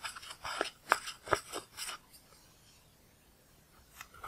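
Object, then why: Pressed powder eyeshadow in a plastic palette. A pale spatula tool scrapes and digs pressed powder out of the red and purple pans of a large black plastic eyeshadow palette, crumbling it. Seven short, crisp, bright scraping crunches come quickly over the first two seconds, then a quiet pause before a couple of faint scrapes near the end.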